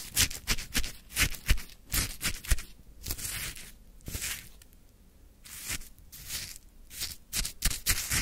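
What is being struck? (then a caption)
Shaved ice in a plastic cup, scraped with a wooden stick. A wooden stick scrapes and lifts lemon-flavored frozen shaved ice from a full plastic cup, close up. An irregular series of crisp, bright, crunchy scrapes follows, with a quieter scratchy stretch in the middle before the crunching picks up again.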